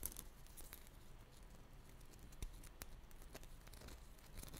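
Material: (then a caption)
Dried clay. Long nails tap and scratch a small pink dried-clay ball covered in glossy sprinkles, held between the fingers. Quiet, sharp clicks and brief bright crackles sound over a soft, steady low rumble, with each tap dying away almost instantly.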